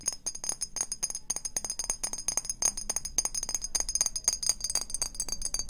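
A small, hollow, clear glass perfume bottle with a silver cap is tapped quickly and continuously with long painted fingernails. The taps make a dense stream of bright, high glassy clinks that stop almost instantly, with faint music in the background.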